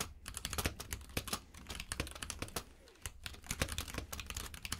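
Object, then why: Mechanical keyboard with plastic keycaps. A compact mechanical keyboard with plastic keycaps in a grey frame, lying on a purple rug, is typed on with the fingertips of both hands. Rapid, crisp key taps clatter in quick uneven bursts, each click sharp and bright with a low thud beneath and almost no ring, with a brief pause before the typing resumes.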